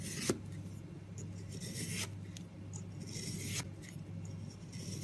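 A long metal knife blade shaves thin slices from a large solid blue-grey soap loaf. Soft, bright scraping and cutting strokes rise and fall over a steady low hum, with one sharper click near the start.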